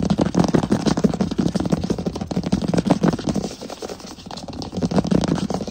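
Fingertips of both hands tap fast on a large solid wood plank floor while nails scratch across the boards. The result is a dense, irregular patter of short, dull, low-pitched knocks with a scratchy edge and almost no ring. The patter eases to a quieter scratching stretch midway, then builds back up.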